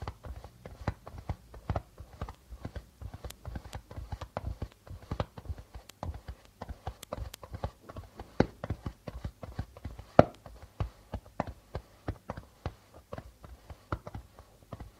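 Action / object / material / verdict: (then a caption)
tap / darbuka drum with plastic drumhead / plastic / none. Fingertips tap the white plastic membrane of a hollow darbuka drum near the rim and the center, making a quick, steady run of short, dry taps. Each tap has a soft low thump and a mid tone around 600 Hz, with very little ringing, and the taps vary gently in loudness, with one sharper tap standing out near the end.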